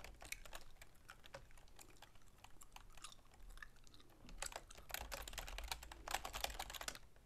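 Long manicured fingernails and fingertips type rapidly on a full-size black plastic keyboard with a silver plastic frame resting on a wooden desk. Quick, irregular, dry plastic clicks and taps follow one another with almost no ring, over a faint low rumble. The tapping grows denser and brighter in the second half.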